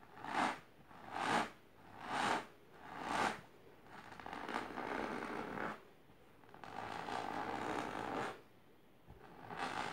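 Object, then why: Fabric-covered box. Long painted nails scratch vigorously and aggressively with both hands across a medium, firm, boxy object covered in pink fabric with colourful line patterns, resting on purple cloth. Four separate rasping strokes come first, then longer stretches of continuous scratching. The dry, bright fabric scrape is centred around 900 Hz with little low end.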